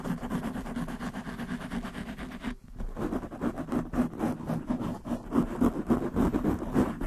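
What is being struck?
Foam microphone windscreen.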